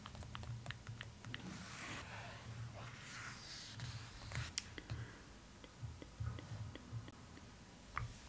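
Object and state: Glossy paper page tapped with nails.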